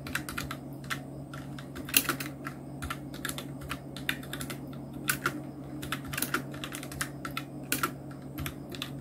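Fingertips of both hands type on a full-size black plastic mechanical keyboard, a Nubwo Illusion NK-70 with Outemu red switches, round plastic typewriter-style keycaps and blue backlight. Quick, uneven runs of sharp, bright clicky keystrokes patter over a steady low hum.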